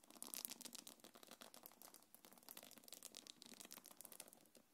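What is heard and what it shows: Long nails scratch and tap the top of a small black quilted faux-leather belt bag and its gold metal chains. The result is a quiet, dense run of crisp, bright scratches and clicks with almost no low end.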